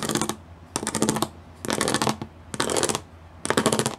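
Long nails and fingertips drum quickly across the studs of a gray plastic studded sheet. Five separate bursts of rapid, dry, clicky taps each last about half a second, with short quiet gaps between them. The ticks are bright with a faint low tone near 220 Hz and die away almost instantly.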